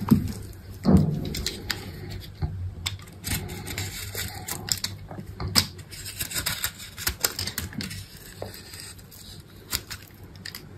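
A solid green bar of soap with a red textured coating, held in a hand with long pink nails, is scored in a grid and carved with a utility knife blade. Irregular crisp scraping and crunchy cutting clicks follow one another over a low, dull body, with short bright snaps and quick decays.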